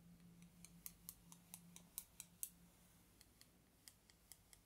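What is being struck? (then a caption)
Thin bamboo skewers tapped together. Two long, thin, solid wooden bamboo skewers, held crossed in the fingers, are scraped and tapped against each other, then held close to the face near the end. About sixteen quiet, bright, dry clicks come at an uneven pace, fading after the first half. A steady low hum runs underneath.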